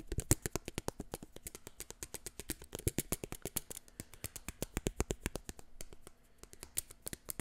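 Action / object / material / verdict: tap / plastic eyeglass frames and lenses / plastic / none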